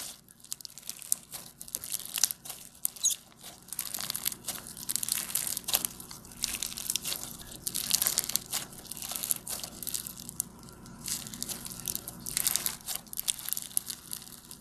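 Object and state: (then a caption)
Foam bead slime (floam) crackling. A soft, solid mass of light blue floam slime, made with polystyrene foam beads and purple glitter, is squeezed, pressed and pulled apart with fingers and thumbs. It gives off dense, bright, crunchy crackles and crinkles that swell and fade in quick bursts, with almost no low end.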